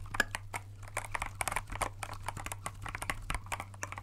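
Gloved fingertips tap the keys of a compact transparent plastic mechanical keyboard with clear keycaps, held in both hands. A quick, uneven stream of short, crisp clacks and clicks rings out, each dying away almost instantly, over a steady low hum.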